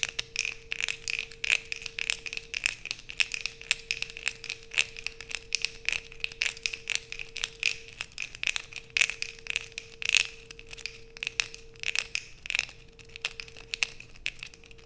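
Long nails scrape and tap the surface of a solid light-blue Coast bar soap held in both hands, sending flakes falling onto a dark sheet. The result is a dense run of crisp, bright scratching clicks and scrapes, with a faint steady low hum beneath.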